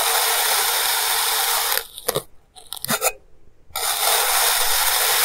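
A clear plastic knife slices repeatedly through a small, solid, molded block of purple kinetic sand on a white table, cutting it into thin layers. A steady, bright, grainy scraping hiss fills the start and end, while the middle drops quieter with a few short, crisp crunches and cuts.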